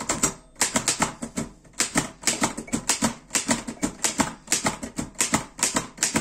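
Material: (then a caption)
Metal. Fingertips type on the keys of a black metal Erika 5 portable typewriter. Quick bursts of sharp, bright clacks with very little ring are broken by brief pauses between runs of keystrokes.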